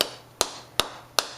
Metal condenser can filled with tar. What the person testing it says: kind of solid on the bottom